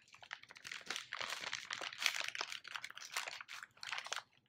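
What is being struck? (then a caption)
Kraft paper bag. An empty brown kraft paper bag with a printed barcode is held in both hands and crumpled, folded and crinkled with the fingertips. Dense, bright crackling and crunching come in overlapping bursts with almost no low end, each crackle dying away almost instantly. The rustling continues in waves before trailing off near the end.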